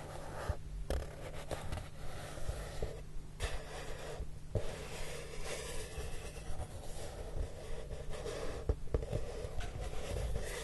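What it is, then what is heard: Cardboard box rubbed with fingertips. Fingertips with short nails sweep and rub across the surface of a large, flat, brown corrugated cardboard box that sounds hollow. The result is a continuous soft, dry, scratchy rustle with a few brief louder swipes, over a steady low hum.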